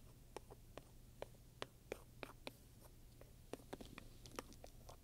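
A wooden pointer scratches the pebbled leather between the metal studs at the lower right of a black studded leather handbag lying flat. A quick, irregular series of short, dry ticks and scrapes rings out, each centred near 430 Hz with bright upper edges. A steady low hum sits underneath.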